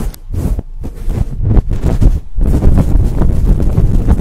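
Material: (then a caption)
Synthetic fur. Long acrylic nails scratch quickly at the sides of a large, fluffy synthetic-fur microphone windscreen. The result is a loud, dense, muffled rumble of rapid, uneven scraping, mostly deep and boomy with little bright content. There is a brief lull just before the scratching resumes more continuously.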